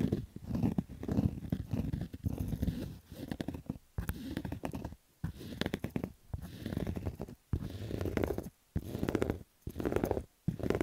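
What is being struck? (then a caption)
Fabric baseball cap. Fingernails scratch over the stitching of a black Adidas fabric baseball cap with a hollow crown, making rough, dense scratching bursts. The sound is muffled and low-heavy with almost no bright content, broken by brief silent pauses between bursts.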